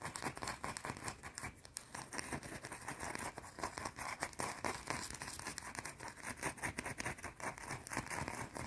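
A small, solid, round white soap bar is held in both hands while long blue-painted nails rapidly tap and scratch its surface. The result is a dense stream of quick, dry clicks and bright, rasping scrapes that stop almost instantly, with no ring, and the level stays fairly even throughout.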